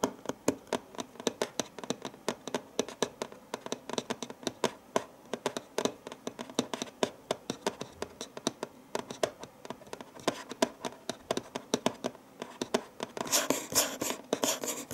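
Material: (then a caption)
Cardboard. Fingertips tap and lightly scratch the hollow lid of a printed cardboard gift box with its lid closed and a green bow on top. Rapid, dry, short taps with a papery mid-range knock continue throughout, and a brighter, denser scratching texture comes in over the last couple of seconds.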